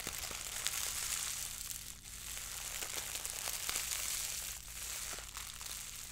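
A fist-sized, loosely balled wad of clear plastic cling film, soft and hollow with air pockets, is held in both hands and squeezed, crumpled and rubbed with the fingertips and long acrylic French-tip nails. It makes a dense, bright crinkling and crackling that runs continuously with small sharp snaps and brief dips, over a faint steady low hum.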